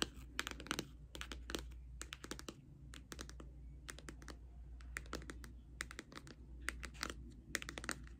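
Long red nails tap and scratch a pink Too Faced cardboard eyeshadow palette held up close. The result is a quick run of crisp, dry clicks in uneven bursts, each dying away almost instantly, with faint scratchy rasps between them. A steady low hum sits underneath.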